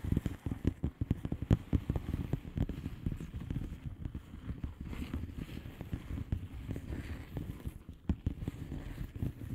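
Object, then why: Plastic bubble wrap envelope. Long fingernails on both hands tap rapidly across the bubbles of a flat blue plastic bubble wrap envelope. The result is a dense, continuous stream of soft, muffled taps with a deep, low-heavy tone and almost no brightness. Each tap dies away almost at once.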